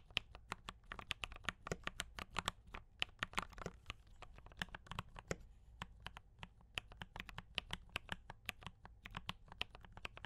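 A compact mechanical keyboard with brown switches and cream and red plastic keycaps is typed on continuously by both hands with fingertip taps. Dense, irregular runs of short, bright clicks and clacks roughly 50 of them in ten seconds sit over a faint low rumble. Each keystroke dies away almost instantly.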